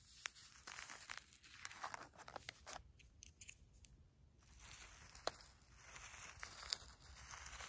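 Fingernails and a red pen tip scratch and poke into dry, uncooked long-grain rice resting on a paper filter. The result is a bright, crisp crunching and rustling with scattered sharp ticks as the grains shift and crackle against the paper.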